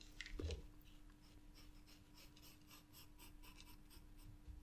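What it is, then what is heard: Paper sketchbook page. A green wooden graphite pencil draws and shades on white drawing paper in a spiral sketchbook, with a loose sheet lying nearby. A brief louder scrape near the start is followed by soft, steady scratching strokes with bright, airy streaks over a faint low hum.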